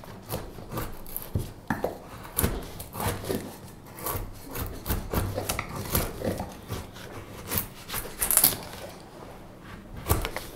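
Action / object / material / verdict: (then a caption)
scrape / wooden spoon blank shaved with a steel knife / wood / none. A solid, light wooden spoon blank, held upright, is shaved with a straight steel knife. Short, repeated cutting and scraping strokes give dry, rasping wood sounds with crisp, bright edges and a soft low undertone, each stroke dying away quickly.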